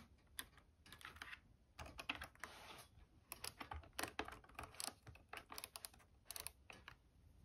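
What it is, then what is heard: Plastic steam iron. Long painted nails tap rapidly on the casing, dial and translucent water tank of a red and white hollow plastic steam iron standing upright on an ironing board. The result is a quick, irregular run of sharp, bright plastic clicks in a typing-like pattern, with a brief softer rushing noise partway through.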